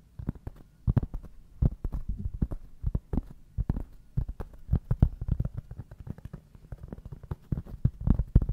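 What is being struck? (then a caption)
Round cork board held close to the microphone. A large, solid, round flat cork board held in both hands close to the microphone is scratched and tapped by fingertips and short nails across its rough granulated surface. The result is a dense, irregular stream of dull, dry, very bassy thumps and soft scratches, each dying away almost instantly, with little high-frequency content.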